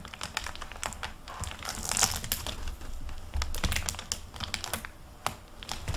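Hands flip through the paper pages of a hardcover library book with a plastic-covered paper dust jacket and close the cover. Quick, bright page rustles and crisp crinkles from the jacket are heard, with soft low thumps as the book handles and shuts.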